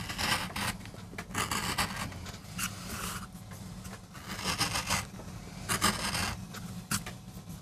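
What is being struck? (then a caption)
MDF board carved with a metal gouge. A wooden-handled metal gouge carves and scrapes grooves into a small, flat, solid MDF carving block while a rose is cut for a relief print. Short, bright rasping strokes come in uneven bursts, some dry and crisp and others longer scrapes, over a steady low rumble.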